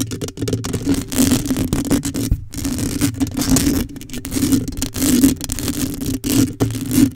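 Long pale acrylic coffin nails on both hands rapidly scratch the rounded, hollow metal mesh grille of a black USB condenser microphone. The result is a dense, continuous rasping scrape with a steady low tonal drone around 270 Hz underneath. There are brief quiet dropouts, the clearest just before 2.5 seconds.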